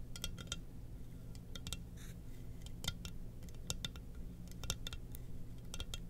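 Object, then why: Glazed ceramic mug. A glossy black, hollow, empty ceramic Darth Vader helmet mug, its lid set aside, is gripped in both hands and tapped and scratched with long nails. Short, bright clicks and ticks ring only briefly, with a soft scratching rasp in between, all over a steady low hum.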